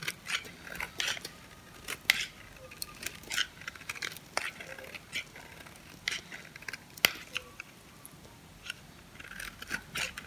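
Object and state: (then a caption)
Dry, crunchy bar soap. A metal blade scrapes and shaves crunchy chips off the cut face of a hand-held, hand-sized dry white soap bar with blue and yellow painted edges. The sound is a run of bright, dry crackling scrapes and crisp snaps with no ring, set over quiet hiss.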